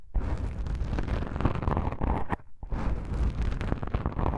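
Long pink nails and fingertips of both hands scratch soft black foam microphone windscreens. The result is a dense, muffled, low rumbling crackle and scrape with a brief quieter dip partway through.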